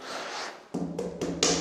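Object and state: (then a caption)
Hollow-sounding wall. Knuckles knock on a wall near a window; after a brief stretch of broadband background noise, four quick, woody knocks follow, each with a short resonant ring around 470 Hz. The wall sounds hollow, suggesting it has a lining or doubling.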